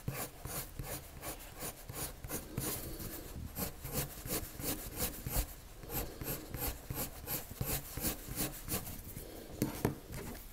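A pale colored pencil rubs circular strokes across a sheet of flat white drawing paper. A steady run of soft, scratchy rubbing strokes repeats about three times per second, with a bright papery hiss over a low, dull body.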